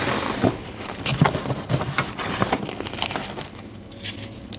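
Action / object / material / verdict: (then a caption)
scrape / gym chalk block and powder / chalk / none. Fingers dig into, squeeze and break pink dyed gym chalk powder and a solid chalk block resting in a tray. Soft, dry crumbling and rubbing are heard, punctuated by sharp, bright crunches and crackles as the chalk breaks apart.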